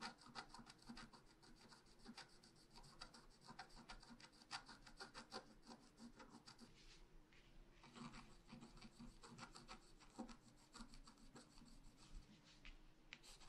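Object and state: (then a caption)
Scratch art paper being scratched. A wooden stylus held in the fingers scratches colored lines into a flat, thin, black-coated scratch art paper sheet about A4 size lying on a table. Quiet, rapid, dry scratching strokes with a bright rasping texture continue throughout, pausing briefly around the middle, over a faint steady low tone.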